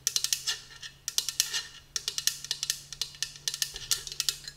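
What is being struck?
Insulated metal travel tumbler.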